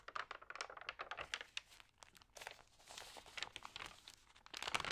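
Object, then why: Thin paper magazine pages. Long nails scratch and rub the thin, water-sprayed pages of an open magazine. The result is a dense run of crisp, bright crinkles and rasping scrapes with almost no low end, dipping quieter around the two-second mark before louder bursts of crinkling near the end.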